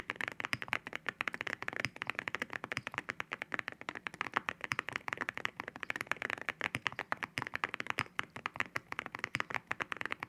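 Fingertips type rapidly on a mechanical keyboard fitted with ceramic keycaps, producing a dense stream of short, bright clacking taps with almost no ring. The clicks sit mostly in the upper midrange with little low end, overlapping too quickly to count.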